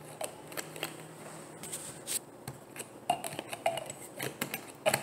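Long painted nails tap and click on a hollow, frosted white plastic bottle. The result is a series of short, dry clicks with a hollow ring around 720 Hz and bright high edges, each dying away almost at once over a faint steady hiss.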